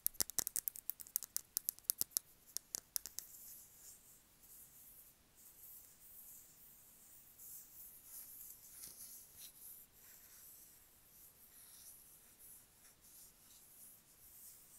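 A medium frosted glass candle jar filled with wax, held in the hand, is tapped on its sides with long acrylic nails, making a quick run of sharp, bright clicks over the first three seconds. The tapping then gives way to soft, hissy scratching of the nails along the glass that continues quietly to the end.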